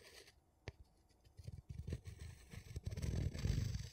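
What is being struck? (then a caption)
Metal screw lid on a small glass jar, scratched and tapped with a wooden stick. A thin wooden tool scratches and taps the embossed top and edge of a gold metal screw lid on a small empty glass jar. A sharp click stands out early, then dull, low scratching and scraping builds into a denser, louder rub toward the end, with faint bright ticks above.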